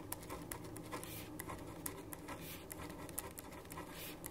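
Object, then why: Paper sheet on a wooden desk, written on with a ballpoint pen. A black ballpoint pen writes on a white paper sheet lying on a wooden desk, scratching the paper. Soft, continuous scratchy strokes are broken by brief sharp ticks of the pen tip, and a low hum sits underneath.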